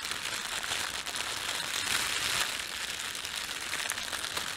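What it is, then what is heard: Plastic bread bag being crinkled. Fingertips rub and crinkle the film of a thin, empty, red printed plastic bread bag. A steady, bright crackling rustle runs throughout with almost no low end, swelling slightly in the middle before easing off.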